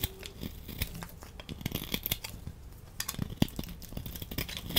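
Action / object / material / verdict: scrape / laundry soap bar scraped with a knife blade / soap / none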